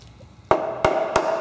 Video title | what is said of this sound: Project CJ5 - Frame Repair (Part 4) | that metal on the inside of the frame rail it's not because it's rotted it's just thinner